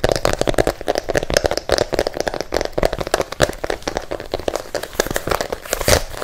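Nails and fingertips rapidly tap and scratch a hollow, empty pink and white athletic sneaker, mostly on its pink patterned rubber sole, close to the microphone. The result is a fast, steady stream of short, dry, crackly clicks with a hollow midrange knock and bright scratchy edges, each hit dying away almost instantly.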